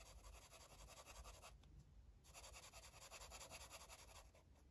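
A light blue felt-tip marker rubs and scratches in rapid back-and-forth strokes across the page of an open paper coloring book lying flat on a table. The strokes make a steady, bright, papery scratching that briefly thins out near the middle before resuming at full pace.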